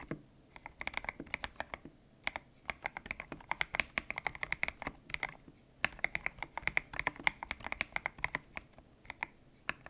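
Fingertips type on a white-cased mechanical keyboard with grey and pink PBT plastic keycaps, its hollow case resting on a desk mat. Quick, bright, clacky keystrokes arrive in steady bursts with short pauses, each click sharp and dry with almost no ring. The sound is centered around 2 kHz, with little low end.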